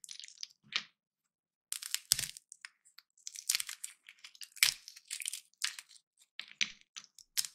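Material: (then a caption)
Peanut shell. Small, dry, hollow peanut shells are squeezed and snapped open with the fingertips and thumbs of both hands over a pile of peanuts. The result is a run of bright, crisp cracks and crunchy rustles that die away almost instantly, separated by brief pauses and with a few sharper, louder pops along the way.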